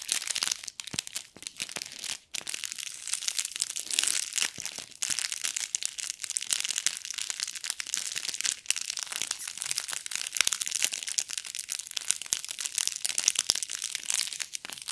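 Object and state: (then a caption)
Foil-wrapped gift box ornament. Fingers squeeze and crinkle the shiny gold foil wrapping a small gift-box Christmas ornament with a string loop, held up in one hand. The sound is a steady stream of crisp, bright crackles and crunches with almost no low end, each snap dying away instantly, with brief quieter pauses between squeezes.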